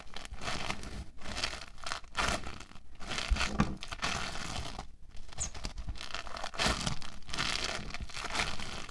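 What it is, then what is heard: Foam bead clay being squeezed. Hands with short nails press and squeeze solid orange bead foam clay (playfoam) against a table, first as a roll and then as a flattened lump. Dense, crackly crinkling and crunching bursts come in uneven waves with brief pauses, spreading from a low thump up into bright fizz.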